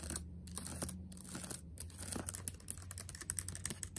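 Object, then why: Plastic laptop keys. Fingertips type and tap on the left-side keys of a backlit laptop keyboard with black plastic keys set in a metal body. Quick, crisp plastic clicks and taps come in irregular bursts over a steady low hum, each click bright and very short with almost no ring.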